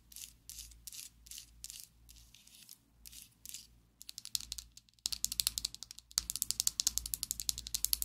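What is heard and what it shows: Long acrylic nails tap rapidly on a slim pink and black plastic Essence liquid lipstick tube held above a table. Soft, breathy scratching bursts give way to fast, bright, dry clicks that grow denser and louder toward the end. A low hum sits underneath throughout.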